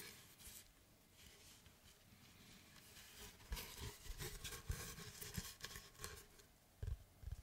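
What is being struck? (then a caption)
Wooden log slice board. A large, flat oval slice of solid tree trunk with its bark edge, held in both hands, is rubbed and then tapped with fingertips and nails on its flat face. Soft, quiet scratchy rubbing fills the first few seconds, followed by six dull, low wooden taps with short decays and a bright scratchy texture between them.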